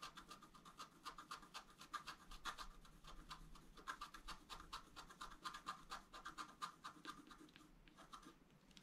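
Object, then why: Wax-coated scratch-art paper sheet. A wooden stylus scratches and rubs the coating off a thin, solid, flat black wax-coated scratch-art paper sheet. Quick, irregular scratching strokes overlap throughout, each a short dry rasp with a bright, hissy edge and a faint tonal ring around 1.2 kHz. The strokes come in uneven bursts at a steady overall quiet level.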